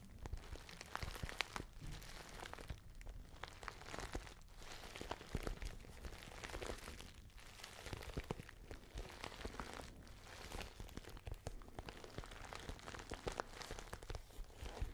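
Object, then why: Small patent faux leather handbag. Fingernails tap and scratch across the glossy surface of a small pale pink patent faux leather handbag. The result is a quiet, steady run of dense, crisp clicks and crinkly scrapes over a soft low rumble.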